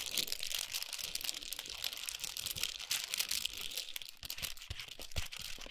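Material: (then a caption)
Foil. Long pointed nails tap and scratch a large chocolate bar in a gold foil and paper wrapper resting on a towel. The result is a steady stream of bright, crisp crinkling and rustling, with a few soft low thumps from taps near the end.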